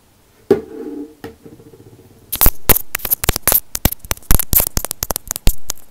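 Fingernails tap and scratch a small white plastic inline microphone on an earphone cord, held between the fingers. Two separate taps, each followed by a low, buzzing ring, give way to a rapid, uneven run of sharp, bright clicks and scratches. The taps come through as loud, close thumps with heavy low-end weight.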